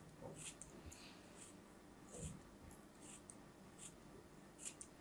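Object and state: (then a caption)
Kinetic sand cut with a knife. A thin metal knife blade repeatedly cuts and scrapes through a small solid chunk of brown kinetic sand held between fingers with pink nails, crumbling it over a pile of loose sand. Soft, crisp, bright scraping and crunching bursts recur over a quiet, low rumbling background.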